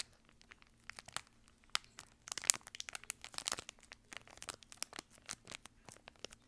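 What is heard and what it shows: A small, empty, crumpled, shiny silvery plastic-foil wrapper is held in one hand and crinkled and scrunched by the fingertips close to the mic. Quiet, bright, dry crackles and crinkles come in scattered bursts, growing denser and louder in the middle before thinning out again. A faint steady low hum sits underneath.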